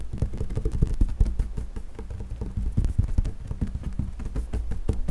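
Flat hands and fingertips rub and tap across the large, solid, flat top of a wood-grain school desk. The result is a quick, irregular run of dull, low, muffled thumps with a soft rubbing underneath. The hits stop dead with almost no ring and have very little bright content.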